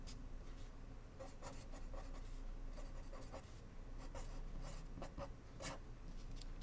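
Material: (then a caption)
Paper. A blue ballpoint pen scratches across a small, flat white paper index card resting on a wooden desk as it writes text. Quiet, irregular scratchy strokes come in short, bright bursts over a steady low hum.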